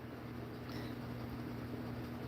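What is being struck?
Nothing is struck.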